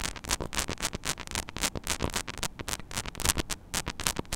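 Long nails scratch and tap quickly across the small, hollow metal mesh grille of a mini microphone head. The result is a dense, irregular run of crisp, bright scraping bursts and short clicks with a little low thump, each dying away almost at once.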